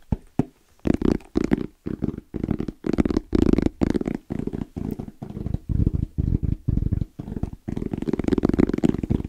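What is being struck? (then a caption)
Fabric-covered EVA foam hard-shell zipper case. Fingertips tap quickly and rhythmically on the lid of a small, closed, hollow black zippered hard case with orange trim and a fabric-covered EVA shell. The taps come in dense bursts separated by brief pauses, making dull, hollow, low thuds with almost no ring.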